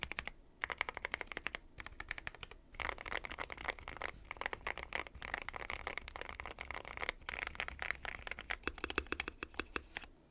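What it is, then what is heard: Mechanical keyboard with plastic keycaps. Fingertips type on a mechanical keyboard with a dark metal case and white and pastel plastic keycaps, sometimes with one finger and sometimes with both hands. The result is a dense run of sharp, bright clicks and clacks with very short decay, broken by a few brief pauses.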